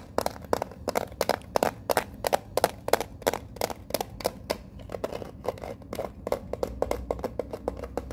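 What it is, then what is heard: Metal card tin tapped with fingernails. Long fingernails tap and scratch a small, hollow, rectangular printed metal Pokemon card tin with a card deck inside while it is held up. Quick, uneven taps with a hollow, tinny mid-range ping around 465 Hz cut off almost at once, between light scratchy scrapes, over a soft low background hum.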